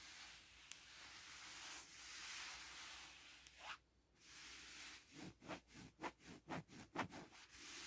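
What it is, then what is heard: Fabric bed sheet. Short painted nails and fingertips scratch across a large black bed sheet with a pink and white floral print, its smooth satin-like fabric lying flat. A steady, bright, hissing rub runs for several seconds, drops away briefly, then gives way to a rapid series of short, rhythmic scratching strokes.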